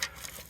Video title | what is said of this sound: Clearing Land - Cutting Trees and Chipping Branches | shake it until it's ready or until you hear the rattle